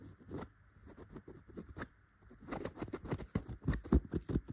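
A yellow tufted chenille pillow is scratched first with a gold claw nail cover, then with long red-painted fingernails. The result is soft, dry, scratchy rustling strokes in an irregular rhythm, quiet at first and growing louder and denser in the second half.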